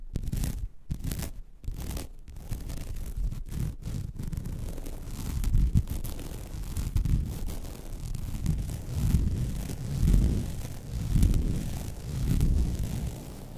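Long red nails scratch across the weave of a flat, white woven vinyl mesh placemat. The scratching starts in short, choppy bursts separated by brief pauses, then settles into a continuous, dense rasp. It swells and fades irregularly and is mostly a low, dull rumble.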